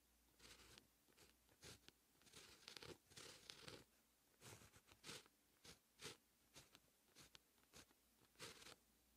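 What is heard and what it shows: A dark fine-tip pen held in the fingertips writes Korean text on a flat sheet of white lined writing paper. Its nib makes quiet, bright, scratchy strokes in short bursts separated by brief pauses, with little low-end weight.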